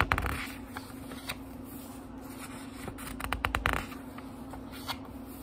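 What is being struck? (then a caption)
Thin paper pages of a small book. Fingertips flip the thin paper pages of a small, thick book, making soft crisp rustles and flutters with a cluster of quicker flips in the middle. A faint steady low hum runs underneath throughout.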